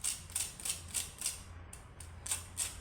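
Nine light taps on the top of a freshly toasted bread sandwich give sharp, dry, high-pitched crackling clicks with a brief ring and a low hum underneath. The sandwich was toasted crisp on both sides; it stays crisp if eaten hot but goes soft if packed in a lunchbox.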